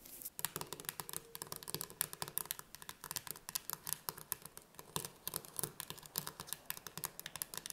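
Long red nails rapidly tap and scratch the lid of a full, closed metal tin can of chickpeas with a paper label, standing on a wooden table. The result is a quiet, steady stream of crisp, bright clicks and light scratches, each tap dying away almost instantly.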